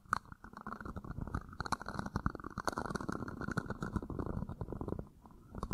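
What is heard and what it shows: An empty red plastic party cup, hollow and thin-walled, is held in one hand and tilted against a microphone grille while fingertips and nails scratch and tap its outer wall. The close-miked result is a dense, crackling rustle of quick scrapes and soft taps with a heavy low, rumbly body. The sound drops to near quiet for a moment before a few last taps.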